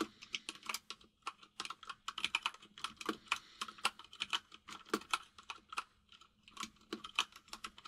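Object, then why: Mechanical keyboard with plastic keycaps. Both hands type with their fingertips on a compact mechanical keyboard with white and grey plastic keycaps, producing about 40 short, bright plastic clacks in quick, uneven bursts. Each tap dies away almost instantly, leaving brief quiet gaps between flurries.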